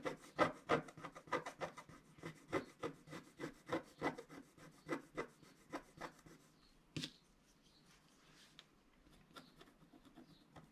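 A wooden stylus scratches the coating of a flat scratch-art card made of black wax-coated paper, while the other hand holds the sheet still. A quick, fairly steady run of short, dry rasping strokes, about three per second, fills the first six and a half seconds. After one brighter, sharper scrape, the strokes thin out into faint, sparse scratches.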